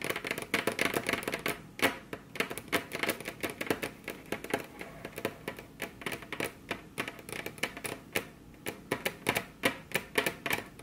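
Very long curved nails tap their tips on a flat, solid, glossy dark-brown wood-grain tabletop, with both hands on the table. The result is a quick, uneven stream of dry, bright clicks that sounds like typewriter clatter. Each tap dies away almost at once, with little low end.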